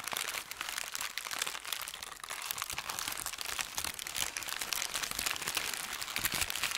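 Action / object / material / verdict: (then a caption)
scrape / thin paper sheet / paper / none. A thin white sheet of wrapping paper is rubbed with fingertips, then gathered up and crinkled by hand. The result is a dense, continuous run of bright, crackling crinkles with sharp little snaps and almost no low end.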